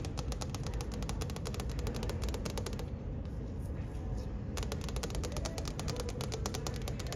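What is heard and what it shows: Long manicured nails and fingertips tap rapidly across the flat glass surface of a large, solid, wall-mounted ship deck directory touchscreen, making crisp, bright clicks over a steady low rumble. The tapping stops for about two seconds in the middle, leaving only the low background hum, then picks up again at the same quick pace until the end.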